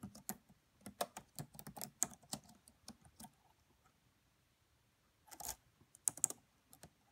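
Fingertips with long French-manicured nails on both hands tap the black plastic chiclet keys of a red laptop with a hollow body. The clicks are quiet, short and bright, with almost no ring, in an irregular run of typing. A pause of over a second follows, then a second brief burst of taps.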